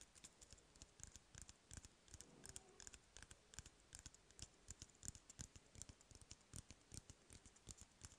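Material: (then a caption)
Cardboard. Fingertips tap rapidly on the side of an empty, hollow cardboard toilet paper roll held in one hand. The quiet, dry taps come in quick, irregular bursts, each a short, bright click with a soft low thump that dies away almost at once.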